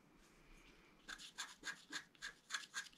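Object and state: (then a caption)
Scratch-art paper sheet. A pointed wooden stylus held in the fingers scratches a flat, black-coated scratch-art card of about A4 size lying on a table, exposing a metallic rainbow layer underneath. After about a second of near silence, a quiet series of short, bright, dry scratching strokes follows at an uneven rhythm, with a hissy edge centred around 1.7 kHz.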